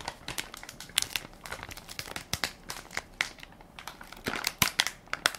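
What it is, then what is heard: Crinkly plastic wipes pack. A hand-sized Equate baby wipes soft pack made of crinkly plastic film and full of wipes is held in one palm while fingertips and nails press and crinkle the film. A steady run of bright, crisp crinkles and sharp crackles follows, with almost no low end. Each snap dies away quickly and the louder pops stand out from the denser rustling.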